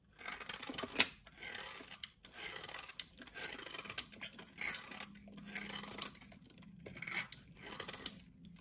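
A solid pink bar of soap held in the hand has its outer surface shaved and cut with a utility knife blade, producing flakes. Bright, crisp scraping strokes come in bursts, each closed by a sharp click of the blade.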